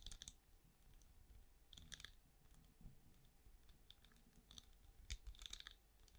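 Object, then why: Ridged plastic night lamp shell. Long nails tap and scratch the ridged side of a small, hollow, glowing night lamp with a ridged translucent plastic shell held in one hand. Quiet, delicate clicks and brief scratchy bursts come in scattered clusters, each snapping bright and high and dying away almost instantly over a soft low rumble.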